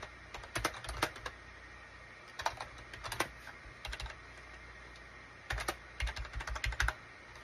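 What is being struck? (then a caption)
Plastic computer keyboard. Fingertips type on the keys of a full-size gray and cream SHIPADOO K600 wired USB plastic keyboard with a hollow plastic case, resting on a desk mat. Quick clusters of short, bright clacking keystrokes with a hollow low thump come in bursts separated by brief pauses. Each click dies away almost instantly over a steady low background hum.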